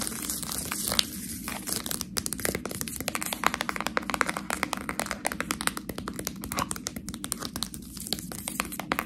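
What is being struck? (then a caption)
Plastic bag of fresh pasta. A full Priano plastic package of fresh tortellini is scratched by long nails across its label and sealed top. Rapid, crisp crinkling scratches and small clicks run steadily over a low steady hum, with bright, dense texture and no ringing tail.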